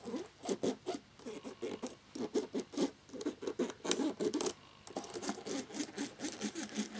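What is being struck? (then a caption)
Plastic laptop keyboard. A cotton swab held in the fingers scrubs the gaps between the keys of a black plastic laptop keyboard with its keycaps on. Quick, repeated rubbing and scratching strokes come in short bursts with a dry midrange texture and a bright, airy edge, with brief pauses between them.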